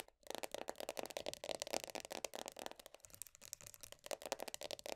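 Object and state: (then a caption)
Plastic body butter tub. Long nails tap quickly on the black, printed-top lid of a medium round plastic body butter tub. The result is a rapid, steady run of dry, hollow plastic clicks with a bright edge and a faint mid-range tone near 630 Hz. Each tap dies away almost instantly.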